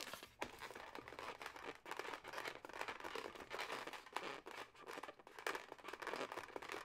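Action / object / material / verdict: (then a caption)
scrape / latex modelling balloon / latex / none. A yellow, twisted, hollow, air-filled latex modelling balloon is tapped and scratched by long nails, then squeezed and twisted by hand. The result is a quiet, dense run of squeaky, crinkling rubber rubs and quick scratchy taps, bright and mostly in the mid to high range with almost no low end.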